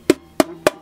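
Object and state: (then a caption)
Hollow plastic pistol grip. Three sharp taps on an original all-plastic replica pistol grip give short, dry, wood-block-like knocks with a low-mid pitch around 300 Hz that die away almost instantly. The grip sounds hollow, matching its light, probably not very solid plastic build.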